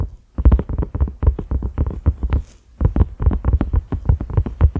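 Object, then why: Silicone pot lid. A cream silicone pot lid with concentric ridges and a black center knob is tapped quickly with the fingertips and short nails of both hands. The taps are soft, dull and low, with short thuds that die out almost at once. Two fast runs of tapping are split by a brief pause in the middle.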